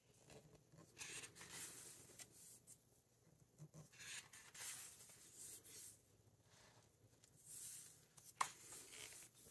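Fingertips flip and smooth down the glossy and matte paper pages of a large open hardcover book. Quiet, bright papery swishes and crinkles come in a series of soft bursts, with a sharper snap of paper near the end.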